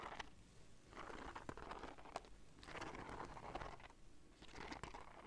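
A black fabric bag covered in gold beads and bead fringe is held up in one hand while long dark nails scratch and rub across the beads. Soft crunchy, crinkling scrapes come in three swelling passes, with sharp little clicks scattered throughout.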